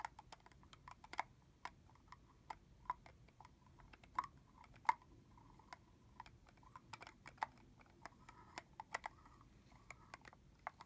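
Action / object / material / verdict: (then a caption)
tap / plastic spray bottle with plastic cap / plastic / none. Long fingernails tap and click on the cap end of a red translucent plastic body-mist bottle, filled with liquid and topped with a hollow plastic cap. Around thirty quiet, sharp clicks come in an irregular pattern, each dying away almost instantly with a light hollow tone near 900 Hz.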